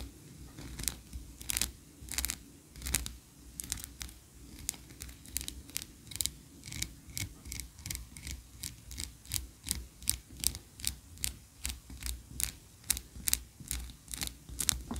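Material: Wax.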